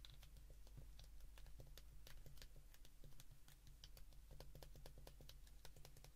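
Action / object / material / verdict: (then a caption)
tap / plastic flip phone keypad buttons / plastic / none. A white plastic flip phone held in both hands has its keypad buttons pressed rapidly with the thumbs. The result is a quick, uneven stream of short, dry, bright clicks over a steady low hum, all at a quiet level.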